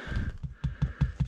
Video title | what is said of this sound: 8.1.21 - Le Jour d'Après -17 degrés | c'est dur comme du bois pas dire que ça ballotte